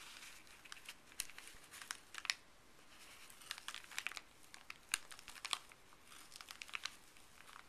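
Fuzzy gloved fingers rub and crinkle a folded, thin printed paper pharmacy bag resting on a table. The sound is a quiet, bright, dry crinkling, broken by short sharp crackles that fade almost instantly.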